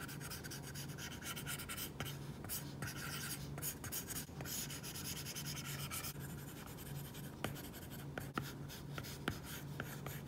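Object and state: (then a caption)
Stylus drawing on a matte-film tablet screen. A plastic stylus tip draws repeated short strokes across an iPad's glass screen covered with a matte plastic screen protector, a flat solid surface, making a continuous dry, bright scratching. A faint steady low hum sits underneath, and a few sharper taps and clicks stand out near the end.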